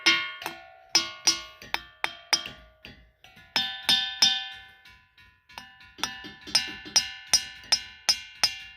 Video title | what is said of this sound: Singing rocks, the black hills, and much more!!! 2000 mile roadtrip | when you hit them with a hammer it kind of sounds like a bell